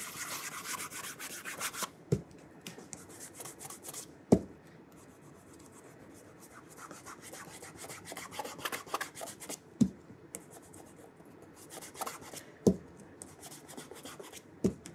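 A burgundy leather oxford dress shoe is held up in one hand while cloth-wrapped fingertips of the other hand rub the leather upper in small circles. The result is a soft, steady rubbing hiss, brighter in the first two seconds, broken by five short, sharp knocks.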